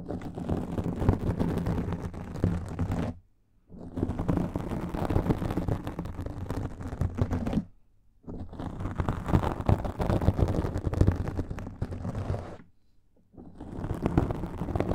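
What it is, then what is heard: Foam microphone windscreen being scratched. Fingernails from both hands rapidly scratch a black foam microphone windscreen, producing a dense, muffled, low-heavy rustling and crackling with a boomy rumble. The scratching comes in three long bursts separated by two short silent pauses, with the final burst still running at the end.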